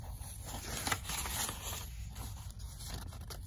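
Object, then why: Paperback book pages. Long nails scratch and tap the paper pages of an open paperback book held in the hand. The sound is a soft, steady, bright scratching rustle with a few faint, quick taps, including a sharper one just before the first second, over a low background rumble.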